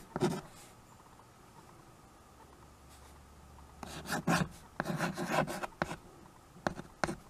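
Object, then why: Chalk on a wood-framed chalkboard. White chalk held in the fingers scratches across the surface of a small handheld chalkboard with a wooden frame. A short rasping stroke opens the clip, followed by a long quiet pause, then clusters of gritty, bright writing strokes. A few quick separate scrapes close it out.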